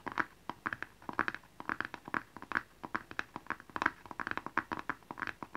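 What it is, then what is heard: Cardboard gift box tapped and scratched with fingernails. A small, hollow blue cardboard gift box with a barcode label is held upright and tapped and scratched with fingernails. A quick, irregular run of short, dry taps and scratchy clicks follows, each with a hollow papery tone centered around 1.6 kHz and a bright edge. Every sound dies away almost instantly, with little low end.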